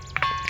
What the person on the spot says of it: ఆ ఏనగుండ్లను చిన్నపాటి రాళ్లను తీసుకుని కొడితే ఆ రకరకాలైన శబ్దాలు రావడం జరుగుతుంది